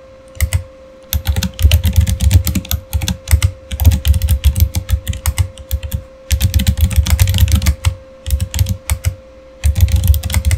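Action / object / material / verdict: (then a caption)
tap / mechanical keyboard with plastic keycaps / plastic / none. Fingertips type steadily on a backlit Razer Fire mechanical keyboard with plastic keycaps. Bursts of quick, thumpy key clacks with bright clicking tops come in runs separated by brief pauses. A faint steady tone hums underneath throughout.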